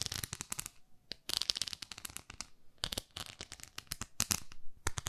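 Long nails scratch the nubbed face of a palm-sized beige textured silicone facial cleansing pad. Rapid clusters of crisp, bright scratching clicks come in quick bursts separated by short quiet gaps, with each click dying away almost instantly.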